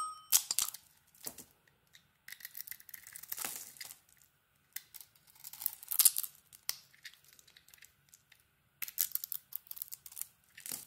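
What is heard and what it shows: A hand-sized solid bar of orange soap with a black iridescent glitter coating is held in one hand while a small metal blade carves and shaves it, scraping off crumbly curls. Bursts of dry, bright scraping and crackling come in clusters, separated by short silences, with almost nothing in the low end.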